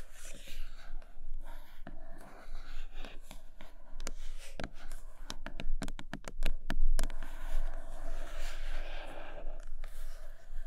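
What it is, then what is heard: Cardboard box scratched with nails. Long nails scratch the glossy printed top of a large iPad Pro cardboard box, making soft, papery rasping sounds. Through the middle of the clip the scratching gives way to a run of sharp, bright clicks and taps, then the scratching returns. A faint low hum sits under it throughout.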